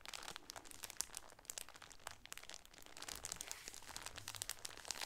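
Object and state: Plastic-wrapped shower curtain.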